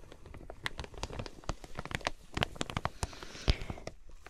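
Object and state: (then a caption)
Plastic-wrapped quilted fabric package. Long nails tap rapidly on the clear plastic packaging of a flat quilted fabric item with card tags, in a typing-like rhythm. About eighteen short, dry clicks with a crinkly, bright edge come in an uneven run, with one louder tap near the end. Each tap dies away almost instantly.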